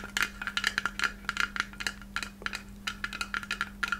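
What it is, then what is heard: Glass Christmas ornament. A palm-sized white hollow glass Christmas ornament shaped like a takeout box, with red lettering and a silver cap, is held in both hands and tapped with long red acrylic nails. About 18 quick, bright glassy taps ring briefly around 1.7 kHz in uneven clusters over a steady low hum.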